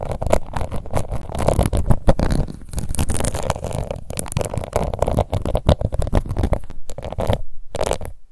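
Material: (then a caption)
Plastic. Long nails scratch across the embossed lid of a small round pink plastic face powder compact, making a dense, continuous run of rough scratching with a muffled, low-heavy rumble. It briefly falls silent near the end before one final burst.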